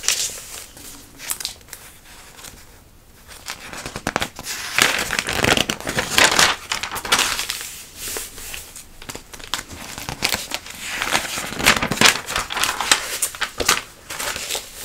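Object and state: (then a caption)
Glossy paper catalog pages. A hand with long nails rubs and scratches the pages of a glossy paper catalog held open. The result is bright, crisp crinkling and scratchy rustling in irregular bursts, quieter at first and louder from about five seconds on, with brief pauses between strokes.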